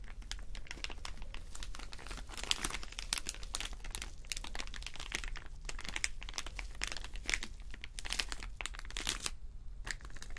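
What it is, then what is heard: Plastic rhinestone sticker sheet. Fingernails of both hands scratch across a clear plastic rhinestone sticker sheet lined with rows of small acrylic rhinestones. The result is a dense, continuous run of bright, crinkly scratches and crisp clicks over a low, steady background hum.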